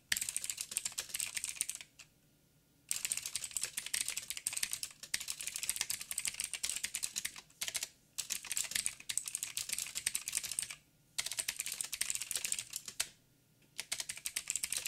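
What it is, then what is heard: Mechanical keyboard with plastic keycaps. Fingertips type fast on a backlit mechanical keyboard with black plastic keycaps on a silver frame and a hollow housing. Bursts of quick, bright, clicky keystrokes with almost no low end are broken by a few short pauses.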